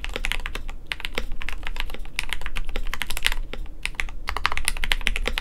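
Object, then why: Mechanical keyboard with PBT plastic keycaps. A compact 65% KBD67lite mechanical keyboard with a white plastic case, polycarbonate plate, and pink, white and blue PBT keycaps over lubed Gateron Yellow linear switches sits on a desk mat. It is typed on continuously with the fingertips of both hands. The result is a rapid, steady stream of short, bright, clacky keystrokes over a constant low rumble.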